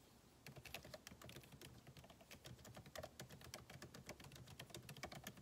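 Fingertips of both hands type rapidly on a backlit MacBook Pro keyboard with plastic keycaps, set in a solid aluminum body resting on a desk. After a brief quiet start, a steady stream of short, crisp key taps with bright clicky tops and soft low thuds continues to the end.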